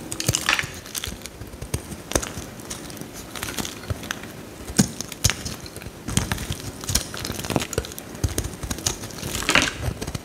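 A metal utility knife blade scrapes crinkly curls off a solid, bright green bar of soap held in the hand. Dry, crackly scraping comes in repeated passes with crisp crunches and sharp clicks, and brighter rasping bursts stand out near the start and end.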